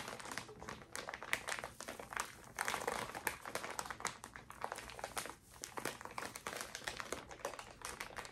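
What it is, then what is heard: Plastic zip bag of cotton pads being crinkled. A small clear plastic zip bag holding a stack of cotton pads in a pink paper wrap is held close to the mic and squeezed and crinkled by fingers with long orange nails. The result is a steady stream of quiet, crisp, bright crinkles and crackles with almost no low end.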